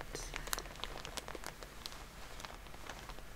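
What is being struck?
Soft plastic-wrapped pack of cotton pads.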